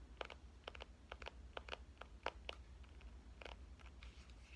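A pink compact digital camera, held with its screen side out, has its screen and frame tapped with the fingernails of both hands. The result is a quick, uneven series of short, sharp clicks with bright, crisp tops that die away almost instantly, over a steady low hum.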